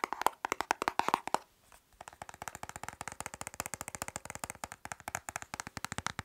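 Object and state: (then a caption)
Plastic makeup compact tapped. Fingernails tap and scratch quickly on a small, flat, dark plastic makeup compact or palette case held in the hand, producing dozens of sharp, dry clicks. A brief burst with a faint ringing tone gives way to a short pause, then a steady, rapid run of crisp taps.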